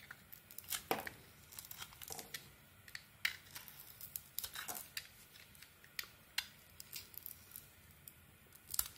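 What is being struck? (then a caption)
Bar of soap scraped with a metal blade. A solid red-and-cream bar of soap, held in the hand, is carved by scraping thin shavings off it with a metal blade. Short, bright, crisp scrapes and crinkly shaving sounds come at an irregular pace. Each one is dry and brief over a quiet background.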